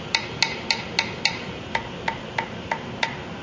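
Ten short, dry taps land on a fret end of a Parker Fly guitar's glued stainless steel frets after it has been deliberately popped up with an X-Acto knife. The first five taps are brighter, and the last five sound duller and more wood-like. This dead sound means the fret end is loose and must be glued down.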